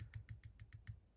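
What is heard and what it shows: A metal slot car chassis plate from a RevoSlot Porsche 911 GT2 is held by one corner and tapped six times, giving short, quiet ticking knocks as it rocks a little on the block. The rocking shows the plate has a very slight curve, so it is flexed back by hand.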